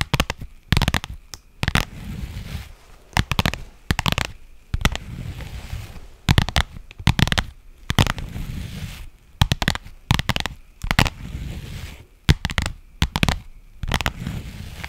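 A pink faux leather padded pouch, held in both hands, is scratched and tapped with long nails. Clusters of sharp, crisp taps with a bright edge alternate with soft, low rustling scratches across the surface, giving close, crackly textures with brief pauses between bursts.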